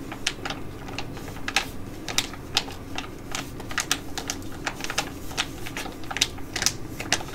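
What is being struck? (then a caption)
Foil sachet. Long nails tap and scratch a flat, glossy foil sachet of ID.AZ Derm Gold-Fit Mask held in both hands, making crinkles. An irregular run of sharp, bright clicks and crisp crinkles sits over a faint steady low hum, each tap dying away almost instantly.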